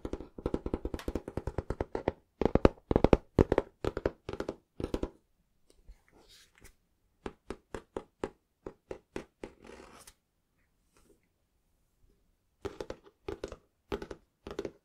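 Fingertips tap on the front cover of a small, solid, closed green cloth-covered hardback book. Quick bursts of dull, dry thunks with almost no ring are separated by short pauses, including a longer silence before a final flurry of taps.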